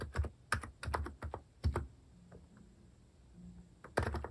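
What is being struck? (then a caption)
Keyboard with plastic keycaps. Fingertips type steadily on a compact Hanmumu electrocapacitive keyboard with plastic cat keycaps resting on a wooden desk. Bursts of soft, deep, thocky key presses come in quick clusters, then pause to faint low humming. A final flurry of keystrokes follows.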